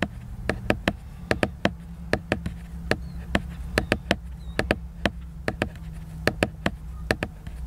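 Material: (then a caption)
Laminated paper. Fingertips tap the glossy laminated cover of a large picture book, making 25 short, dry taps with bright clicky tops. Each tap dies away almost at once, over a steady low hum.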